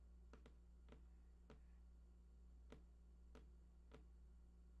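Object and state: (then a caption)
Cardboard game console box. Fingertips tap the right side edge of a large, hollow, printed cardboard PlayStation 4 box with unknown contents, giving seven soft, dry, irregularly spaced taps. The taps are faint, sitting over a steady low hum.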